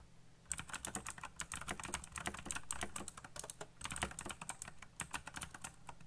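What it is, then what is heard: Plastic mechanical keyboard being typed on. Fingertips type fast on a backlit black plastic mechanical keyboard with RGB lighting and hollow key switches. After about half a second of quiet, a dense run of sharp, bright clicks follows steadily, with each keystroke cut short over a faint low hum.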